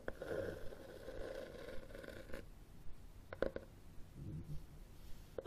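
Fingernails scratch and tap the cover and spine of a red cloth-covered hardcover book held horizontally, then the book is raised. Soft, quiet scratching with a muffled tone is broken by short, dull taps that fade almost instantly.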